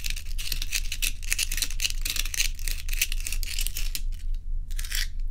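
Long nails tap and scratch joined solid ice cubes held in both hands, making a quick, uneven run of crisp, bright scratching and clicking bursts. A steady low hum runs underneath, and there is a brief lull just before a final scratch.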